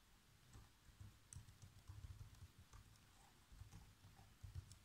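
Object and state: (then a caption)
Plastic laptop keyboard being typed on. Fingertips type on the black plastic keys of a laptop keyboard, making a quiet, uneven run of repeated key taps. Each tap is a short, dull thud with a faint bright click, dying away almost instantly.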